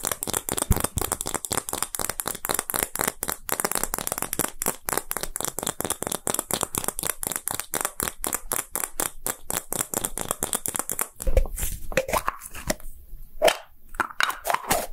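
A small, hollow, translucent pink and clear plastic gacha capsule is held in the hand and tapped roughly with fingertips and short nails. The result is a rapid, dense stream of short, dry clicks and taps with a bright, crisp edge, each dying away almost instantly. Near the end the tapping turns sparser and more uneven, with a few louder knocks.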